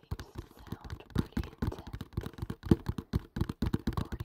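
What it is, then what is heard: Cardboard box. A small, hollow kraft cardboard box with a printed label, held above the mic, is tapped fast with fingertips. About 22 quick, dull, low thuds come in an uneven rapid run, each dying away almost at once with no ring.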